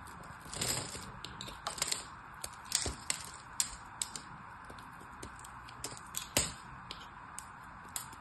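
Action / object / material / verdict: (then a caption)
scrape / bar of soap cut with a knife blade / soap / none. A solid purple soap bar is held in the hand while a craft knife blade carves small cubes and flakes off its scored face. Irregular crisp, bright cuts and scrapes, some with quick crackling bursts, sound over a steady high hiss, with short-lived snaps that fade quickly.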